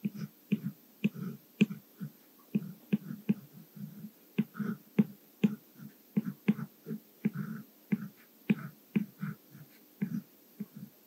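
A white Apple Pencil's plastic tip writes Korean text by hand on the glass touchscreen of an iPad Mini, possibly under a screen protector. Light, quick scratching and tapping strokes of the nib come in short dry bursts with a low thud at about 210 Hz and little ring. They fall in a steady, uneven rhythm across the whole clip.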